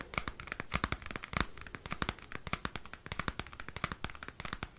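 Fingernails scratch and tap on a small, square cardboard CD album sleeve held close to the microphone. The result is a rapid run of dry, crisp clicks and scratches with bright, papery edges and short low thumps, each dying away almost at once.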